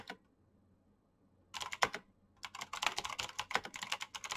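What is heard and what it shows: Fingertips of both hands type fast on a black plastic backlit mechanical keyboard with clicky switches. A single tap is followed by a pause of about a second and a half, then a short burst of keystrokes and, after a brief gap, rapid continuous typing. The clicks are sharp and bright, each dying away almost instantly with no low-end thump.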